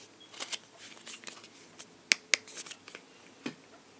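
A lip balm tube is tapped, giving a scattering of quiet, dry, high-pitched clicks and ticks with almost no low end. Two sharper, louder taps land near the middle, and each sound stops almost instantly with no ring.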